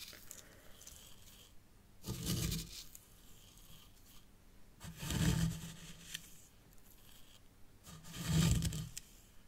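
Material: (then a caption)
Sand. Long dark-painted fingernails and fingertips dig into and scratch through fine white sand in a miniature zen garden, a small hexagonal grey tray that also holds a tealight holder. Three louder gritty scrapes rise and fade with broad, bright hiss. Between them, quieter, softer rustling continues.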